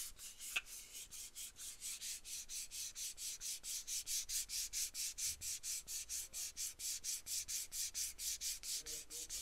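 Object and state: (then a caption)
Aluminum spray can. Long nails scratch rhythmically along the side of a small, hollow, cylindrical aluminum aerosol deodorant can with a dark cap, held in one hand, with a single sharp tap near the start. About 35 quick, evenly spaced strokes produce a bright, hissy rasp with almost no low end.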